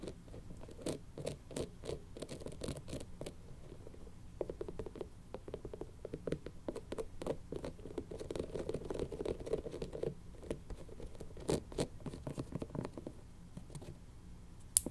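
Long nails scratch and pat a spiky rubber toy ball with a face, making a quiet, steady stream of soft scratchy rustles and short dry taps at an irregular pace. The sound sits mostly low with brief bright clicks at each tap, and every tap dies almost instantly without ringing.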